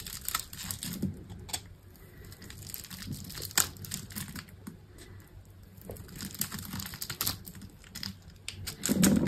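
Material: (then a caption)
Soap. A solid green bar of soap, scored in a grid and held in a hand with long pink nails, is carved with a utility knife, shaving off small cubes. Dry, crisp crackles and scraping clicks repeat throughout with bright, crinkly edges and a soft low rustle beneath. The sound swells louder and fuller at the very end.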